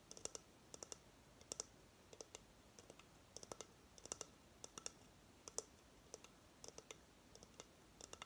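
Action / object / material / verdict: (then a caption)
tap / coconut shell hideout / coconut shell / none. Long fingernails tap on the hard shell of a hollow coconut shell hamster hideout held in the hands. The result is a quiet, irregular series of short, bright, dry clicks in small clusters, with a faint hollow tone near 450 Hz and almost no ring between taps.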